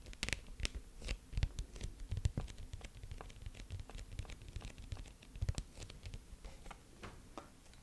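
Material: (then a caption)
Wood, glass. Long yellow acrylic nails scratch and tap over a medium-sized light wooden picture frame, possibly glass-fronted, holding a black-and-white sloth print and held in both hands; it is unclear whether the nails strike the wood or the glass. Quick, dry clicks and short scrapes come in irregular bursts, with bright, sharp ticks over a low, muffled thud from the frame, and each sound dies away almost instantly.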